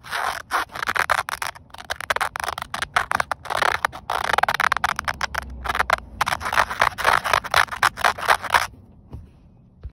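Green-painted fingernails scratch across the weave of a grey woven polyester car seatbelt strap, a flat fabric band. Rapid, dry scratching bursts with a raspy texture centered around 1 kHz and bright fabric hiss run in quick strokes with brief gaps, then stop near the end, leaving near silence.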